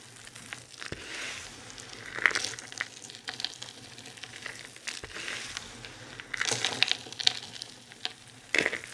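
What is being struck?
Pile of crumbled soap shavings.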